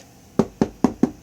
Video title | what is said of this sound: Oreck halo first look | we can hear it it's Hollow